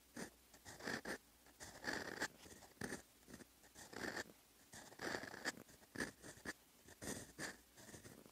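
A steel fountain-pen nib, held in the fingertips, scratches across a flat sheet of lined writing paper while writing Korean letters in brown ink. Quiet, dry scratching strokes come in short bursts with brief pauses, each carrying a bright, papery rasp.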